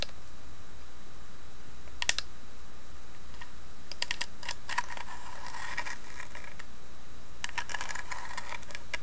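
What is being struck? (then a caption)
Small carved wooden box. Long nails tap and scratch across the carved lid of a small hollow carved wooden box. Soft, quiet clicking taps come in scattered clusters with brief bright scratchy strokes between them, over a faint steady low hum.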